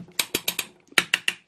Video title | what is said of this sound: 2020 & Late 2019 Jayco 28RLS Jay Flight Rear Recliners Super Slide Half Ton Couple's Travel Trailer | just tap around you can hear metal you know you don't hear plastic in this there's a difference